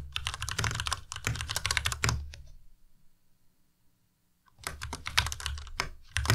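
Fingertips of both hands type rapidly on a white Ducky Miya Pro tenkeyless mechanical keyboard with plastic keycaps. Dense bursts of sharp, bright key clacks ride over a low thocking body. The typing stops for about two seconds, then resumes.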